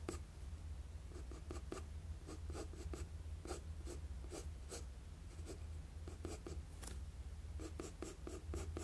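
A wooden HB graphite pencil held in the hand scratches continuous strokes across a flat sheet of drawing paper on a desk. Quick, bright, dry scratches come in a steady run of short bursts over a constant low hum, at a quiet level throughout.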